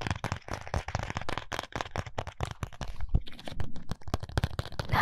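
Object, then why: Small cardboard box. A small, flat, white printed cardboard box of contact lenses is held in both hands while fingertips and nails tap and scratch its surface. The result is a rapid, dense series of short, dry clicks and crackles with a low, hollow thump under each tap and scratchy friction between them.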